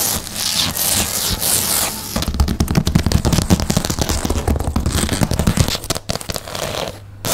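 Long painted nails of both hands scratch and tap a solid light-grey wood-grain laminate tabletop right next to the microphone. It opens with about two seconds of steady, bright scraping hiss, then turns to a dense run of rapid clicking taps and scratches with low, dull thumps underneath. The sound eases off briefly before a final burst of scratching.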